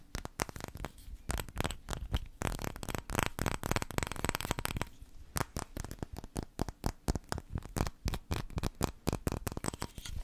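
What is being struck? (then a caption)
Glass candle jar with metal lid. Long red-painted nails tap and scratch the gold metal lid and glass sides of a small glass candle jar with a floral label, which looks filled and is held in both hands close to the microphone. Rapid, dry, clicky taps with almost no ring mix with denser scratching in the middle of the clip, all carrying a deep, bassy thump.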